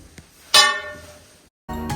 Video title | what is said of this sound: 61 Meters Underground! Exploring Bendigo’s Hidden Gold Mine 🇦🇺- Gold discovered - Australia - Telugu | very solid sound the rock is not going to fall anytime soon